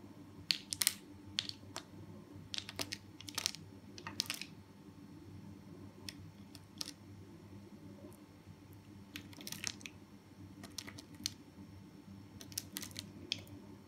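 A small metal knife with a blue handle scrapes and cuts the grid-scored surface of a hand-held green, pink and blue solid soap bar, so crumbly soap cubes break off and fall. Bright, crisp crunches and sharp clicks come in irregular bursts, each dying away instantly, over a quiet, steady low hum.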